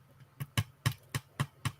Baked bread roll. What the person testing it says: if they sound hollow they're cooked well